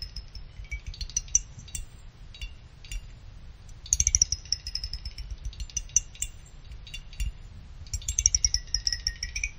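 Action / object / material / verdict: flick / finned aluminum CPU heatsink / aluminum / none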